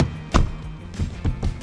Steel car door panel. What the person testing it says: 도색 잘못하게 되면 이런 둥톡한 소리가 나야 되는데 통통 소리 나는 경우가 있거든요. 전혀 문제가 되지 않습니다.